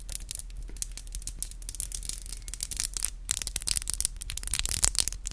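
Long black acrylic nails are tapped together with both hands, the nail tips striking each other. Rapid, dry, bright clicks sound over a steady low hum, growing louder and busier in the second half.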